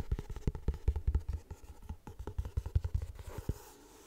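Painted nails tap and scratch the front cover of a closed, floral paper-covered cardboard hardcover notebook held in both hands. About eighteen quick, dull, low taps come in an irregular rhythm, mixed with soft scratching. Each tap dies away almost at once.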